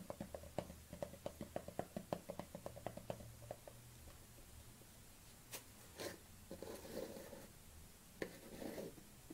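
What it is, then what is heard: Plastic cosmetic jar. Long nails tap and scratch the black lid of a small plastic collagen jar held in the hands. A rapid series of light, clicky taps opens the clip, then gives way to softer scratching with a few brief brighter bursts. The sounds are quiet and dry, with almost no ring.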